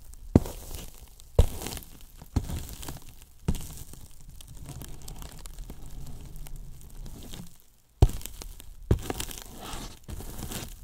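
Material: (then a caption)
Polyethylene foam. The tips of two wooden brush handles tap and scratch the top surface of a large white hollow polyethylene foam box. Six sharp, dull taps stand out among stretches of soft, crinkly scratching. The sound is low and muffled, with almost no bright content.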